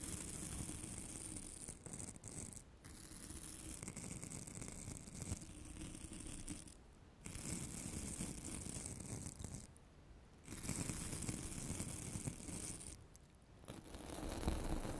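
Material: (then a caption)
Foam. Long nails scratch along the textured glitter surface of a solid, light orange glitter-coated foam craft carrot held close to the microphone. The result is a dense, continuous rasping scratch with a strong low rumble and a faint bright crackle on top. Brief quiet pauses break it up near 3, 7, 10 and 13 seconds.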